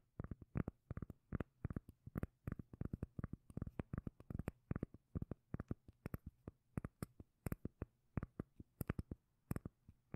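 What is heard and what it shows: Long nails tap and scratch the face of a solid, palm-sized round cork lid. The result is a steady run of dozens of short, dull, bass-heavy knocks that stop dead with almost no ring, under a faint scratchy texture.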